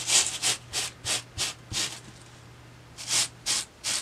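A boar-bristle hair brush held in one hand is brushed back and forth across a flat white foam sheet lying on a table. Each stroke makes a short, bright, high rubbing and scratching hiss. A quick run of strokes gives way to a brief pause, and then three more strokes follow.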